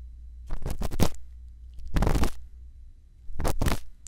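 A thin bamboo earpick held in the fingertips scratches inside the ear canal of a white silicone ear on a solid, round plastic binaural microphone housing. Three bursts of close, dry scratching and scraping rasp across a steady low hum, the first made of several quick strokes, the middle one a longer scrape, and the last a pair of strokes.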